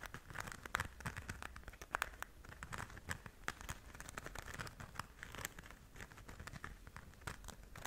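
Long nails scratch across the surface of a flat, pink, glitter-covered zip pouch held in both hands. The result is a quiet, steady stream of dense crinkly scratching and crackly ticks, with brighter clicks standing out and a faint low rumble beneath.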